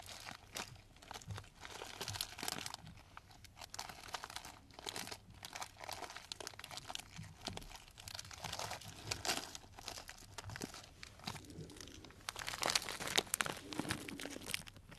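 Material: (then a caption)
Cellophane. A clear plastic cellophane bag full of dried tea pieces is held close in both hands and squeezed and crinkled with the fingertips. The result is quiet, continuous bright crinkling and crunching, made of dense, crisp bursts, with a louder patch of crackling near the end.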